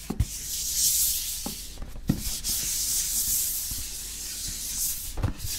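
Fingertips rub and scratch across the printed cardboard faces of a hollow, medium-sized Rode SMR microphone box held up in both hands. The result is a steady, bright, dry scratching hiss, broken by a few brief, low, hollow knocks from the box.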